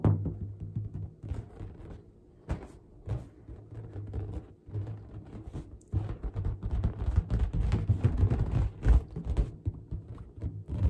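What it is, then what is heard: Latex balloon. A large, hollow, air-filled pink latex balloon is held in both hands and tapped and rubbed with long dark-painted nails and fingertips. The result is a quick, irregular stream of dull, low thumps with a deep boomy resonance and almost no high-frequency content, mixed with soft rubbing scuffs, each tap dying away almost at once.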